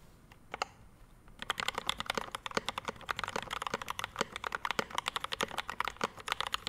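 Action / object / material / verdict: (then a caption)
tap / mechanical keyboard, ABS keycaps, brass plate, metal case / metal, plastic / none. Both hands type with their fingertips on a Rama M65-B 65% mechanical keyboard resting on a desk mat. It has a dark metal case, pink and white double-shot ABS keycaps, a PVD brass plate and lubed Mint Panda linear switches. A few sparse keystrokes give way after about a second and a half to quick, steady typing: short, crisp clacks centred in the mids with bright tops and very little low end, each dying away almost instantly.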